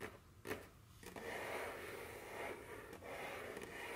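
Very long, curved fingernails tap and rub across a solid, dark wooden tabletop. A sharp tap early on gives way to a steady, soft, raspy scraping with a bright hiss, broken by a few lighter taps.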